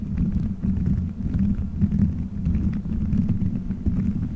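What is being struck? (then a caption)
Gelatin gummy bears stuck on a microphone head. Colorful gelatin gummy bears stuck all over a microphone head in a solid dome are squeezed, rubbed and scratched by fingertips. The result is a steady, muffled, low rumbling squish with a hum near 200 Hz, overlaid by soft, dense sticky crackles and almost no high content.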